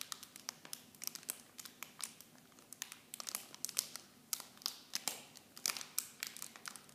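Fingertips squeeze and crinkle the clear plastic film packaging of a miniature shampoo set. Quiet, dry, bright crackles and sharp snaps come in rapid irregular bursts for seven seconds, each dying away almost instantly with no low rumble beneath.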